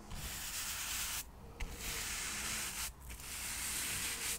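A soft paintbrush is brushed across the surface of a small, solid stack of square cork coasters held in the fingers. It makes a steady, bright, hissy rubbing sound in three long strokes, separated by two brief quiet gaps.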